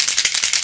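An aerosol can of Kate Somerville Uncomplicated SPF 50 soft-focus makeup setting spray, containing hyaluronic acid and lavender essential oil, is shaken before use. The mixing ball inside clatters in about five quick, bright, hissy rattles with almost no low end.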